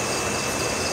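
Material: Nothing is struck.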